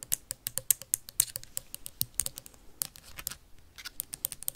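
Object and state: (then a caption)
Plastic sanitizer bottle. Metal paperclips rapidly tap and scratch a partly full, clear plastic sanitizer bottle with a label and white cap. Around thirty quick, bright clicks ring out, with faint scratchy friction between them. Each click is sharp and dies away almost instantly.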